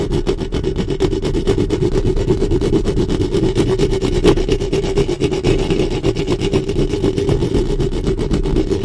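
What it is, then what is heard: Metal microphone grille being scratched. Long nails on both hands quickly scratch the hollow metal mesh grille of a black studio microphone. A dense, steady rasping and rumbling runs for about nine seconds, heavy in the lows with a humming tone near 390 Hz and very little high end.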